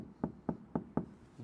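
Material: Sheet metal.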